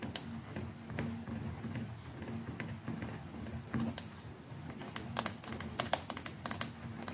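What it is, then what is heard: Plastic electric toothbrush. Long nails tap on the plastic neck and the collar near the handle of a white plastic electric toothbrush. The taps are dry, bright and clicky, with very short decay. They start sparse and quiet, then become quicker and sharper toward the end, over a low, steady background hum.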